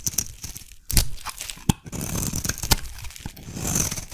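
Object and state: Soap bar being carved.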